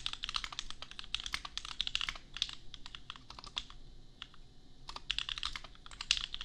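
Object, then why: Plastic mechanical keyboard. Bare fingertips of both hands type quickly on a $250 custom 60% mechanical keyboard with Gateron Milky Yellow switches and red and white plastic keycaps, resting on an anime desk mat. The keystrokes are short, bright plastic clacks that barely ring. A steady burst of typing eases into a brief lighter stretch around the four-second mark, then picks back up.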